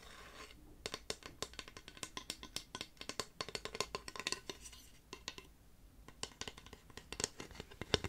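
A flat, solid, painted wooden cut-out dwarf decoration, about a hand long, is held in one hand and tapped with the fingernails of the other. The result is quick bursts of short, dry, bright clicks with almost no ring, broken by brief pauses.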